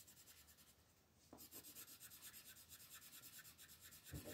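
A red wooden colored pencil shades a flat, thin paper coloring book page with quick back-and-forth rubbing strokes while fingertips hold the page. A soft, faint scratch for the first second gives way to a steady, rhythmic, bright papery rasp, with a low bump near the end.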